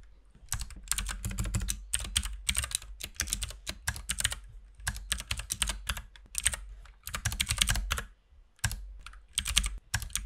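A compact RGB mechanical keyboard with white and pink plastic keycaps is typed on with the fingertips of both hands. Steady, rapid key tapping gives bright, short clicks over a low thock, arriving in bursts with brief pauses between them.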